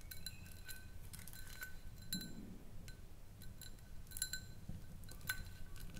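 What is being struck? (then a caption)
Small glass jar. A small, round, clear glass jar, hollow and mostly empty with a little white contents, is held lidless in both hands and tapped with long nails. The taps give quick, bright clinks with short high rings over a steady low rumble, falling into brief clusters across the clip.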